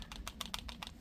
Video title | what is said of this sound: Vosteed scored big time with these 2 awesome fixed blades! | a little bit of rattle only when you're like extreme shaking it